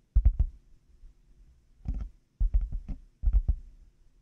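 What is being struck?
Hollow plastic headphone earcups.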